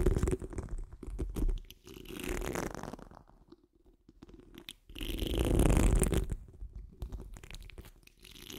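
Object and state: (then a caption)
Metal mesh microphone grille being scratched. The tips of long nails on curled fingers scratch the rounded, hollow steel wire-mesh grille of a large condenser microphone. The result is a close, dense rasping with a heavy low rumble underneath. It swells into louder bursts of rapid scratching and then eases back into softer, intermittent scrapes.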